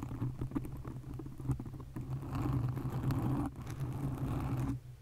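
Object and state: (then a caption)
Foam microphone windscreen being scratched. Long nails on both hands scratch a black foam windscreen fitted on a condenser microphone, producing close, muffled, bass-heavy rustling and scraping over a steady low hum. Irregular scratches in the first two seconds turn into a denser, louder, continuous scrape that stops abruptly near the end.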